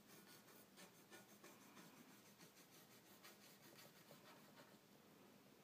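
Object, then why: Graphite pencil on paper sheet. A hand draws a boat outline with a graphite pencil on a stack of white drawing paper resting on a dark table. The pencil tip makes a quiet, continuous scratching and rubbing sound, broken by short, irregularly spaced bright strokes as the lines are drawn.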